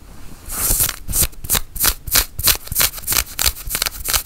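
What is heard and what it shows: Long nails scratch a worn, dark grey cotton flannel shirt sleeve in quick, uneven strokes, about three per second. Each stroke is a bright, dry, rasping scrape of the fabric, with short gaps of quiet between them.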